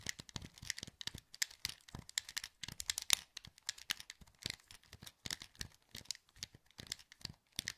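Thumbs click the buttons of a hollow, translucent green plastic PS2 wireless controller held in both hands. A quick, irregular run of about thirty dry, bright plastic clicks and taps follows, each one short with no ring. The clicks stay quiet, with almost no low end.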